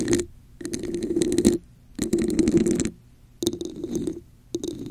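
Long acrylic nails tap and scratch a hollow red plastic cup with a raised diamond texture held over a microphone. The result is four dense bursts of rapid, gritty clicking and scraping, each with a hollow, boxy resonance and a bright crackling edge, separated by near-silent pauses.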